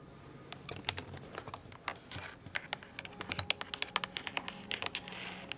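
Long nails tap the round plastic keycaps of a mint-blue plastic computer keyboard held at an angle close to the microphone. A quick, uneven run of sharp, bright clicks sounds, each dying away almost instantly over a faint low hiss.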